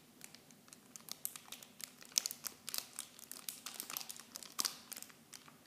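Fingers with long blue nails crinkle clear plastic film wrap around small blue bottles. The result is a quiet run of dense, bright crackles and sharp snaps with almost no low end, each dying away instantly.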